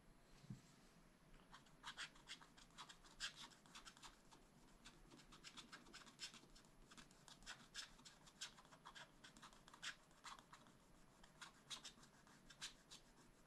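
A wooden stylus scratches vertical strokes into a black wax-coated scratch-art sheet in a spiral-bound pad. The strokes are quick, dry and bright, with short scraping bursts that stop almost instantly, set against a faint, steady low hiss.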